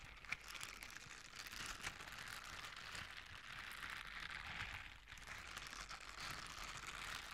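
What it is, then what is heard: Silicone scrubber gloves rubbed together. Blue silicone scrubber gloves with bristle pads are worn on both hands, and the fingertips and bristle pads are rubbed and scratched against each other. This makes a steady, bright, scratchy rustle with little low end, a sharp click near the start, and a brief lull around the five-second mark before the scratching picks back up.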